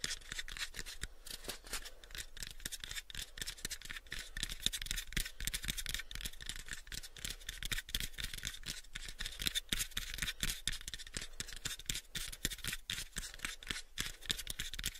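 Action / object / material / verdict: scrape / small wooden box / wood / none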